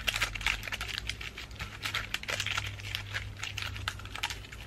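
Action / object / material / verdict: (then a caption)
tap / pine cone, moss and dried flower ornament ball / wood / none. Long nails tap and scratch the woody scales of a pine cone, moss and dried flower ornament ball held up close. The result is a rapid, dense run of bright, dry clicks and crinkly scrapes over a steady low hum.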